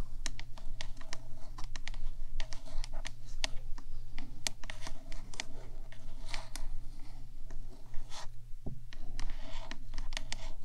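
Long nails on both hands tap and scratch the top edge of a 3Dio microphone's black hollow metal body. Quick, bright clicks and scratchy rasps come in a dense, uneven stream over a steady low hum.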